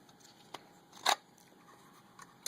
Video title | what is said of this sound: The STRIKER knife going to a new home | there's a very very slight rattle because I'm shaking it hard it's very slight Rattle